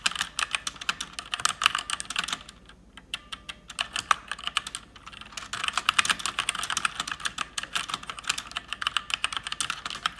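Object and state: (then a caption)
Plastic mechanical keyboard. Fast typing with fingertips and long red nails on an RGB-backlit mechanical keyboard with plastic keycaps gives a dense run of sharp, bright clacking keystrokes. Each keystroke is very short and centered around 1.2 kHz, with almost no low end. The typing eases into sparser, quieter taps about a quarter of the way in, then picks back up to a steady rapid clatter.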